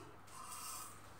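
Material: Nothing is struck.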